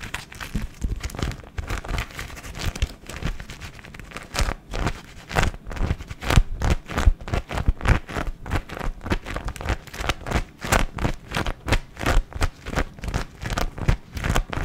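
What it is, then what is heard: Thin printed paper sheet being crumpled. A thin, hand-sized sheet of floral-patterned paper, a wrapping or tissue type, is held and crumpled by fingertips close to the microphone. It makes a steady run of soft crinkling and scrunching bursts. Close to the microphone, these bursts sound dense and low-heavy, with short, dry crackles and no ringing.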